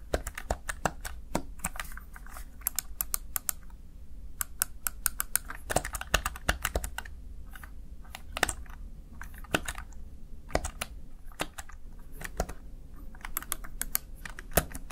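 Fingertips press the keys of a Razer Tartarus Chroma plastic gaming keypad in quick typing, producing a steady run of sharp, bright plastic clicks that stop almost instantly. Some keystrokes land harder and louder than others, over a constant low hum.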